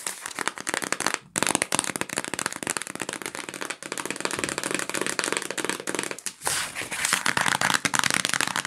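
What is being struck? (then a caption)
Small cardboard box with plastic bags inside. A small yellow printed cardboard box of sandwich bags, hollow with the bags inside, is tapped and scratched with long nails and fingertips. Dense, crisp clicking and scratching crackles run throughout, with brief pauses near 1.2 and 6.4 seconds.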